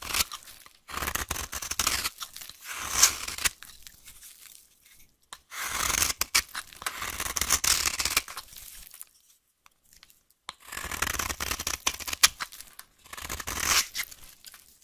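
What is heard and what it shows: A solid, dry, brown vintage soap bar is held in the hand and carved with a knife blade into flaky shavings. Three bursts of crisp, bright scraping and tearing are heard, with short quiet pauses between them.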